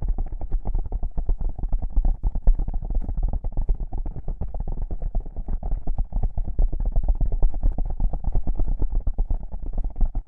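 Long pink-painted nails rapidly scratch two small black foam windscreen covers on a binaural microphone. The result is a steady, dense stream of muffled, boomy scratching and rubbing, heavy in the lows with almost no bright content, continuing for about ten seconds without pause.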